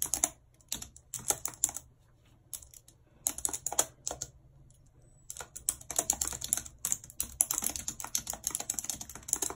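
A full-size white and silver plastic computer keyboard with a numeric keypad, lying on a map, is typed on quickly with very long red acrylic nails and fingertips. The hollow keys give bright, sharp clicks and clacks in dense bursts, separated by brief pauses. Each click dies away almost instantly.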